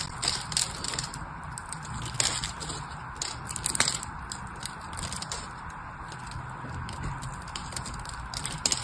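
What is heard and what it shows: A blade cuts and crumbles small cubes from the bottom edge of a partly carved, solid white bar of soap. Steady dry scraping and crackling run throughout, broken by sharp, bright ticks and crunches as the pieces break away.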